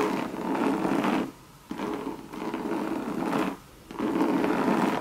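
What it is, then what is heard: Coated canvas and leather handbag being scratched. Long red nails rub and scratch the sides of a Louis Vuitton Monogram coated canvas bucket bag with leather trim. The result is a dry, papery scratching in three sustained stretches separated by brief quiet pauses, centered in the midrange with little bass or high hiss.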